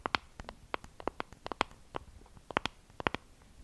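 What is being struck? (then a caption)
Small plastic compact case. A small, hollow pink plastic compact case with a wavy raised pattern is scratched and tapped with long acrylic nails. Sharp, dry clicks land in uneven bursts with soft scratching in between, each tap bright and quickly cut off with almost no ring.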